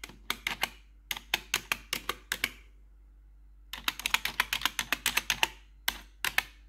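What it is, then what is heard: Plastic computer keyboard tapped with metal nails. Metal claw nails tap and scratch the keys of a black plastic RGB computer keyboard. The result is quick, bright plastic clicks with a thin scratchy edge, in two runs of rapid tapping split by a short quiet pause, each click dying away almost at once.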